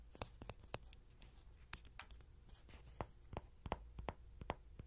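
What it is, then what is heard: Soft vinyl toy horse tapped and scratched. A small, yellow, soft-vinyl Rody horse toy, likely hollow, is held in the hand with a pin mic clipped to its ear while short fingernails and fingertips tap and scratch its body. The result is a quiet, irregular series of sharp, dry taps with bright clicking edges and no ring, separated by soft scratching over a low, steady hum.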